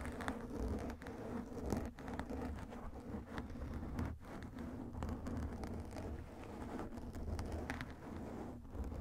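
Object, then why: Foam microphone windscreen. Fingertips of both hands scratch and rub the surface of a soft black foam microphone windscreen. The result is a continuous, dense crackling rustle with a heavy low rumble and a few brief brighter scrapes, staying at a fairly steady level throughout.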